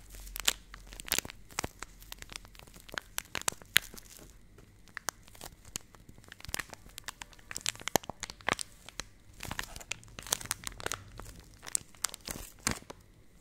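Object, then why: Laminated plastic pouch. A hand-sized, seemingly filled purple Nestle Everyday laminated plastic milk powder pouch is crumpled and scratched with long painted nails close to the mic. Dense, bright crinkles, sharp crackles and rapid scratchy clicks come in quick irregular bursts over a quiet background throughout.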